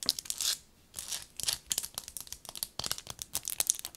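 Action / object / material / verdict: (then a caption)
tap / rubber-coated binoculars / rubber / none. Long nails tap fast on the barrels and eyepieces of black rubber-coated binoculars with a leather strap, held and then set on a table. The result is a rapid run of short, dry, bright clicks and scratchy bursts with almost no low end and no ringing after each tap.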